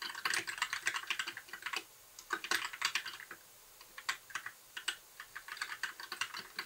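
Fingertips of both hands type continuously on a compact white mechanical keyboard with plastic keycaps, a blue backlight and a hollow case. About 36 sharp, bright plastic clacks come in quick bursts with brief pauses, each dying away almost instantly with no low-end thump.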